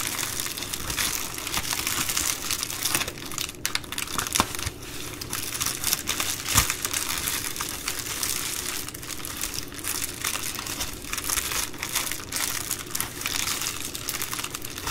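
One hand crinkles and scratches with long nails at the loose top of an empty Amazon Prime poly bubble mailer lying blue-band side up. The result is a steady, bright plastic crackle of dense, rapid crinkles and scratchy rustles with almost no low end, plus a few sharper snaps along the way.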